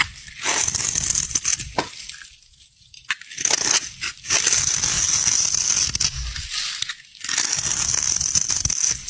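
A metal utility knife blade scrapes and shaves the top edge of a solid green bar soap with light stripes, held in the fingers over a pile of soap bars, breaking it into crumbly flakes. Bright, dry crunching and crackling scrapes come in bursts, separated by brief quiet pauses.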